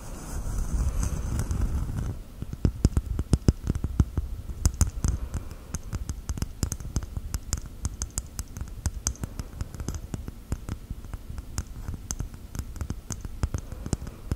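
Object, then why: Coconut shell. Gel nails tap on a coconut shell. The first two seconds are a soft, low scraping rustle, followed by a long run of quick, dry, hollow-sounding taps and clicks with very short decay and a deep, low-heavy tone.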